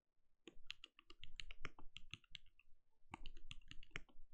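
A compact backlit mechanical keyboard with plastic keycaps and a translucent glowing case is typed on rapidly with the fingertips of both hands. Quick, dry key taps blend a low thock with bright clicks. There is a brief pause in the middle before the rapid typing resumes.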